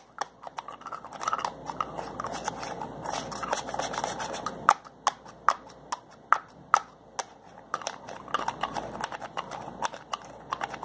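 Fingers twist and rub the plastic cap of a slim white plastic bottle with a label. Soft scratchy friction runs throughout, broken by quick, sharp clicks and ticks in the mid-range that ring for almost no time. A quieter stretch in the middle carries a few louder, isolated snaps before the rubbing builds again.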